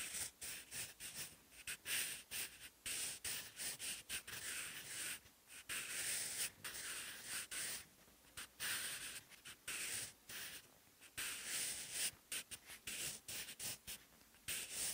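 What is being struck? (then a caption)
Graphite pencil on paper notebook page. A wooden graphite pencil held in the fingers writes Korean handwriting on a lined, textured paper notebook page lying flat. Bright, dry scratching comes in many short bursts of strokes separated by brief pauses, with almost no low end. The strokes are quiet and close, with a short, dry decay.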